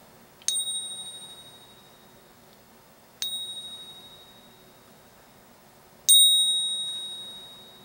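A genuine Silver Eagle coin is pinged three times, each strike giving a clear, high metallic ring centered near 3.8 kHz with a bright overtone. Each ring slowly fades over about two seconds, the sustained tone of a real coin.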